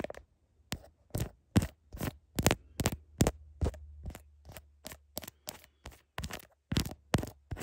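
Long nails tap and scrape the back and camera bump of a smartphone in a blue heart-pattern plastic case, recorded through the phone's own mic. About 18 short, bright clicks and brief scratches come at an uneven pace over a steady low hum.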